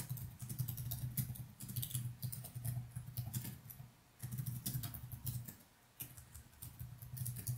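Fingertips type in quick, continuous strokes on the plastic chiclet keys of a laptop keyboard, with only the keyboard being struck. Each keystroke gives a soft, short, bright tap over a steady low hum. Two brief pauses, around 4 and 6 seconds, break the typing.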